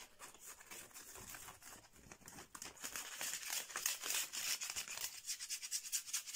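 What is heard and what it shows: Fingernails scratch and rub quickly along the slats of a flat bamboo slat mat with a red border, with a cloth lying beside it. The result is a fast, bright, dry rasping made of short, irregular strokes at about three per second, with almost no low end. The strokes grow louder and more distinctly pulsed toward the end.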